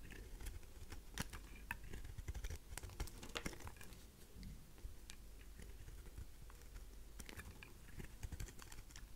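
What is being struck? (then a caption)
Bar of soap. A craft knife blade shaves chunks off the edges of a faceted, pink, heart-shaped solid dry rose soap. The result is a quick, irregular series of crisp, bright cracks and crumbly scrapes over a steady low rumble, with each snap dying away almost instantly.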